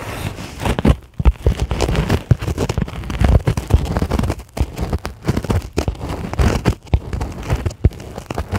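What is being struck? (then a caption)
Polyethylene packing foam sheet tapped and scratched with long nails. Long acrylic nail tips tap and scratch the surface of a white polyethylene packing foam sheet lying on a table. The result is a dense, continuous run of soft, crackly taps and scuffs, mostly low and dull with little brightness. Each tap dies away almost instantly, with brief quiet gaps between bursts.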